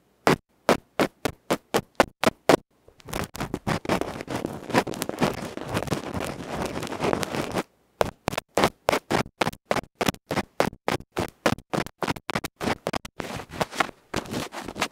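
A tiny electret microphone capsule, a metal can with a felt cover held between fingertips, is scratched across its felt face and rim with a bamboo ear pick. Quick, sharp, bright scratching strokes in a rapid rhythm give way to a dense, continuous rough scraping from about 3 to 8 seconds. The separate rapid strokes then return until the end.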